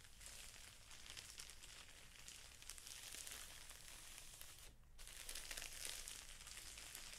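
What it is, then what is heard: Plastic-wrapped felt sheet pack being crinkled. Fingertips rub and crinkle the clear plastic wrapper of a pack of felt sheets. They make a steady, bright, crackling rustle with a faint low hum underneath. The crinkling briefly stops just before the five-second mark, then comes back louder.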